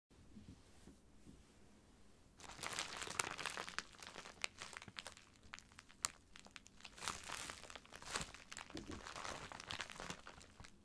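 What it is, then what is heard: Plastic poly mailer bag. A book-sized white plastic poly mailer bag, filled with a packed item and lying flat, is pressed, rubbed and scratched with fingertips and short nails. After about two seconds of quiet, dense bright crinkling begins and continues in uneven waves. It is punctuated by sharp crackling snaps.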